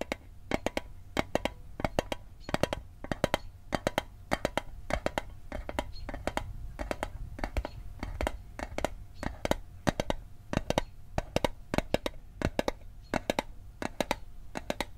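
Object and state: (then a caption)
Metal mint tin. Fingertips and nails tap on the lid of a small hollow metal Altoids mint tin held in the hand. The taps are quick, dry clicks with very short ring, coming in uneven bursts over a low background rumble.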